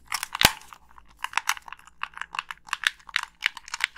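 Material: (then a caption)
Plastic. A black Xbox 360 plastic gamepad with a hollow shell and colored buttons is tapped on its body by long pink nails, which also click its buttons and thumbsticks. Sharp, dry plastic clicks and taps come in quick irregular bursts, bright and crisp with almost no low end and very short decay, including one louder snap near the start.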